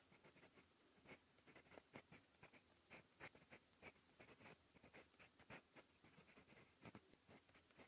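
A gold metal fountain pen nib scratches across a cream lined notebook page, writing in red-brown ink. Quiet, bright scratchy strokes come in irregular short bursts, with a faint steady hiss between them.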